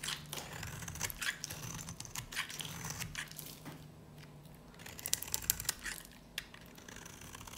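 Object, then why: Varnished soap bar cut with a knife blade. A snap-off knife blade scrapes and cuts into a dry, solid yellow soap bar with a black varnished side. The sound is a string of crisp, bright scratching clicks and crackles with no ring, quieter in the middle and ending with a few sharper snaps.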